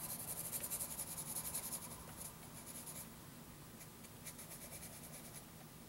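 A graphite pencil held in the fingers draws long scratching strokes across a flat sheet of graph paper. The quiet, bright, papery scratching repeats in quick, uneven strokes, louder over the first two seconds and then softer and steadier.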